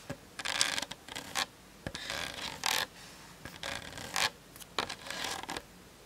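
Long nails tap and scratch the hollow plastic body of a Canon DSLR on a tripod, including the top near the lens, picked up by the camera's built-in mic. Bursts of bright, raspy scratching alternate with quick, dry taps that die away almost at once, with quiet gaps between. The sound is thin and high with almost no low end, centered around 3.4 kHz.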